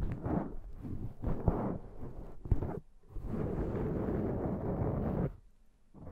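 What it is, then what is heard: Foam microphone windscreen being scratched. Long dark-painted nails and the fingertips of both hands scratch and rub a large, soft, porous black foam windscreen over a Zoom microphone. The result is a dense, muffled, low rumbling scratch in uneven bursts, with a couple of sharper thumps. A steady stretch of rubbing follows, then the sound drops away to near quiet.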